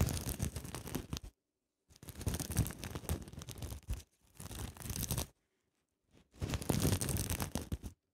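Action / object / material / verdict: scrape / sequin-covered fabric pouch / sequins / none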